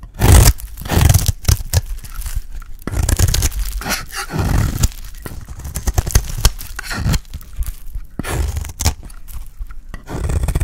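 A solid, dry, pale green bar of soap held in the hand is shaved with a metal blade. The clip is a run of rough, crumbly scraping and cutting strokes in uneven bursts, heavy in the low end with brief bright edges on the sharper cuts. Each stroke ends quickly with almost no ring.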